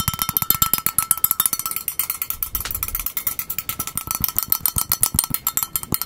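A small, hollow, empty magenta plastic bowl with a white inside is held in both hands and turned while fingertips tap rapidly on its outer surface close to the microphone. The result is a fast, steady stream of dozens of short, dry, hollow plastic clicks with a bright top and a light low thump, each dying away almost instantly.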